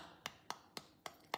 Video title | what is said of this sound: Choux vanille et chocolat | ça sonne hyper creux et ça veut dire en fait qu'il est vraiment super super bien cuit